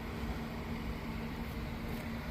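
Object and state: Nothing is struck.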